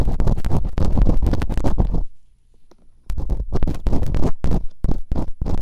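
Bamboo earpicks, held in long-nailed fingertips, scratch and rub inside the open canals of the two solid, soft silicone ear models on a white binaural microphone. The result is rapid, irregular bursts of scratchy, rumbling friction with a heavy low-end thump, broken by a brief near-silent pause midway.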